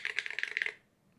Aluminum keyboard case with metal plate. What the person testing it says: มันมีความป๊องในตัวสูงมันก็จะแบบ ดังแต่ไม่เป็นไร